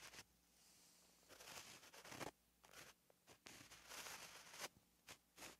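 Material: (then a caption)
Paper. A white gel pen writes strokes on a flat, lined paper notebook page, its tip scratching the paper. Bright, hissy scrapes come in irregular bursts of varying length, separated by short quiet gaps, with little low end.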